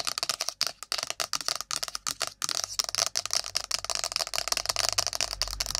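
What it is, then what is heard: Cardboard phone box, fast nail tapping. Long nails fast-tap an iPhone's cardboard box, making a rapid, uneven stream of dry, crisp clicks. The taps are bright and high with almost no low end, and each one stops almost instantly.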